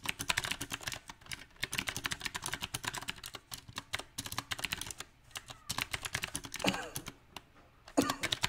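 Fingertips of both hands type on a small 68-key backlit mechanical keyboard with round typewriter-style plastic keycaps set on a silver metal plate. Bright, sharp clicks come in uneven bursts with short pauses between them. Louder, fuller clacks stand out near the end.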